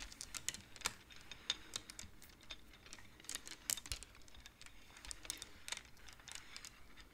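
Both hands slide and tap the wooden beads of a wooden abacus. Quick, dry, bright clicks and soft rattles come in an irregular stream at a quiet level, each one stopping almost instantly with no ring.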